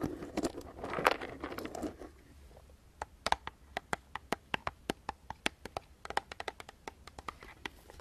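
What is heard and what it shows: A medium clear plastic jar full of mixed nuts is held in the hands and tapped with fingertips and nails, and possibly shaken. For the first two seconds there is a dense, rustling crinkle and scrape. After a brief quiet, a long run of sharp, bright, separate clicks and taps follows.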